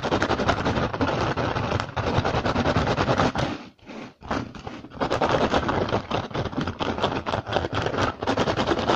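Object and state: Woven rattan basket.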